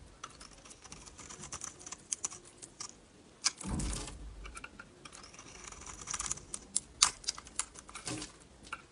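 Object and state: Dry bar soap being shaved.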